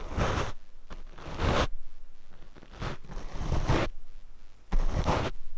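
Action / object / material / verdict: scrape / foam microphone windscreen brushed with bristles / foam / none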